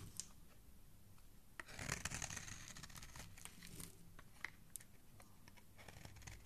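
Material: Soap.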